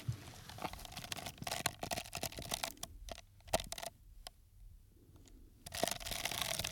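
Fingertips and nails tap and scratch the side of a small, empty, hollow paper cup, red outside with a white rim, held in one hand near the microphone. Dense, bright, crackly scratching and quick dry taps fill the first three seconds, thin out to a few sharp isolated clicks over a quieter stretch, then the busy scratching returns toward the end.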